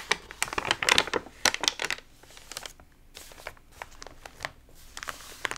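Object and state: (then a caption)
Water-damaged paper magazine, crinkled pages. Fingertips and palms of both hands rub and press the wrinkled pages of an open, water-damaged glossy paper magazine and turn one page over. Dense, bright crinkling and crackling bursts fill the first two seconds, then thin out into softer, scattered crackles with quiet gaps between them.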